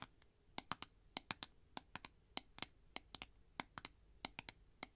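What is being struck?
Clear plastic tube container.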